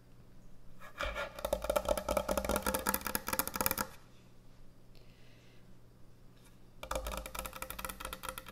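Long nails scratch and rub rapidly across the top of a large, thick, solid end-grain hardwood butcher block cutting board, making dense, crackly scraping. There is one burst of about three seconds, a quieter pause with faint softer rubbing, and then a second burst near the end.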